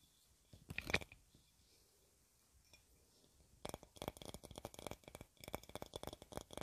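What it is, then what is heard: Glass jar. A hollow clear glass jar or bottle, about 20 cm tall and decorated with yellow flower shapes, is held in both hands and tapped with long red nails. A few sharp taps come in the first second, then a quiet pause, then a fast run of bright, clicky taps with a short break near 5.3 seconds. Each tap has a high glassy ping around 2.4 kHz that dies away almost at once.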